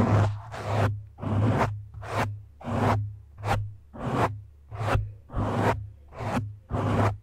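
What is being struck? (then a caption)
Foam microphone windscreen. Fingertips and short nails from both hands scratch the sides and top of a black foam windscreen on a microphone. The result is a series of rhythmic, breathy scraping swishes, each swelling and fading, over a steady low hum.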